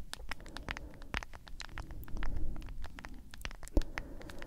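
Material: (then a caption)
Plastic. Long acrylic nails tap and scratch a medium cylindrical plastic tub of G Fuel energy powder with a white lid and printed label, which is probably partly full. The result is a rapid, uneven patter of short, dry clicks mixed with scratchy rustling over a low, dull body, with one sharper tap standing out near the end.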